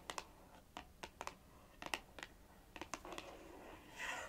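Long nails tap and rasp across a small, hollow, printed paperboard box, making about a dozen short, dry, bright clicks with almost no ring. The clip ends in a brief, airy, high scratching rasp, and the whole sound stays quiet and close.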